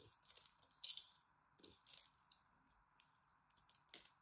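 A metal blade scratches and cuts into a solid green dry soap bar held in the hand and scored with a cross-hatch. Short, crisp crackling and scraping bursts come in an irregular series, bright and dry with almost no low end, each fading quickly against a quiet background.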